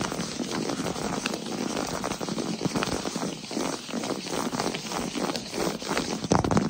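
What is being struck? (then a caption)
Wood plank floor. Fast fingertip and short-nail tapping on a solid wood-look plank floor, close to the camera. The taps blur into a dense, crackly patter with short, dry clicks and little ring. The tapping is fairly steady throughout and gets slightly louder near the end.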